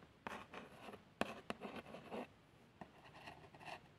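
A long fingernail traces the printed text on a small, hollow cardboard box of plasters, making light, dry scratching strokes. The short, quiet bursts of brushy, bright scraping start and stop at an uneven pace, with near silence between them.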